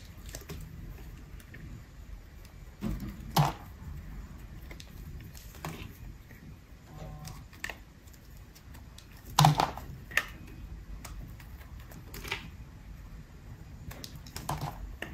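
A metal utility blade slices pieces off the edge of a dry, solid peach-colored bar of soap held in the hand. Soft, low scraping runs throughout, broken by irregular sharp, crisp cutting snaps that rise to bright clicks and die away almost instantly.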